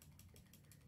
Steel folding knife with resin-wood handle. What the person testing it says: just shake it and you will hear absurd amounts of blade play